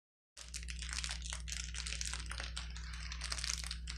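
A woman's fingertips and palms press and rub a flat sheet of clear plastic bubble wrap, with hollow air-filled bubbles, lying on a table. Dense, bright crinkling and small popping crackles run continuously over a steady low hum.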